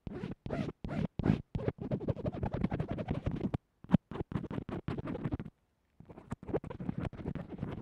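A small earphone microphone taped flat to a table with white textured tape is scratched and tapped along the tape by the metal tip of a yellow-black mechanical pencil. Dense, gritty scratching bursts with a low, muffled body come in quick runs broken by short gaps. A longer pause follows near the end before the scratching resumes.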